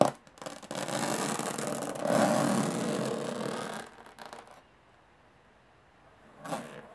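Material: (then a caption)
Aluminum. Long fingernails scratch and tap across the textured metal lid of a small, hollow aluminum briefcase, making a dense, bright rasping that swells for about four seconds. A few lighter taps follow before it goes quiet. One more short scrape comes near the end.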